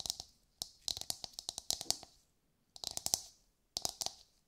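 A hollow, brown, fibrous coconut shell half, held in both hands, is tapped and scratched with long nails. About eighteen sharp, bright clicks come in three quick bursts separated by silences, with a faint hollow tone around 700 Hz beneath. Each tap dies away almost instantly.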